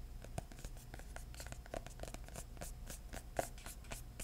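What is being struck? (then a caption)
Hardcover book with cardboard cover and cloth spine. A hardcover book with a cardboard cover and cloth spine is held flat and tapped with the fingertips in a steady run of quick, soft taps. Each tap is a short, dull knock with a low thud and a faint hollow tone, and a few land noticeably harder than the rest. The taps die away almost instantly, leaving a quiet, close sound.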